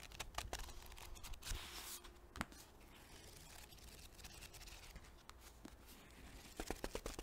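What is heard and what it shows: A small paperback book with paper pages and a soft cover is held in both hands close to the microphone while its pages are flipped and fanned with the fingers and long nails brush the page edges. Quiet, irregular papery flicks and crisp, bright rustling scratches rise and fall over a soft low background.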